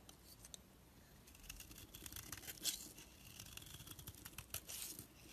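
A knife blade shaves thin curls off a rounded rectangular solid orange soap bar held in the hand. Soft, bright scraping and crisp rasping strokes come in quick, uneven bursts over a quiet background, with a couple of slightly louder scrapes standing out.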